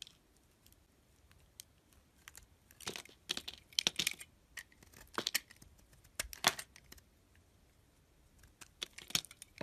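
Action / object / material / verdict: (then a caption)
scrape / painted bar of soap / soap / none. A utility blade peels curled slices off a solid bar of white soap with a multicolor painted coating, held in hand. Quiet gaps alternate with bursts of crisp, bright scraping and crackling that cut off dry with no ring.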